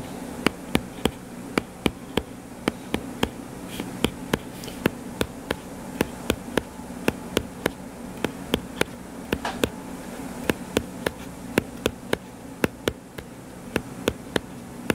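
Fingertips tap rapidly on the cover of a solid purple-covered paperback book lying flat, making about forty sharp, dry clicks at an uneven pace. A steady low buzzing hum runs underneath the whole time.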